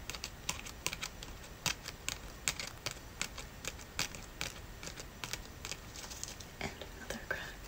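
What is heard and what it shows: Natural fingernails tap repeatedly on a dried brown leaf with hairline cracks, making a quick series of light, crisp, papery clicks with almost no ring. A soft voice speaks quietly underneath.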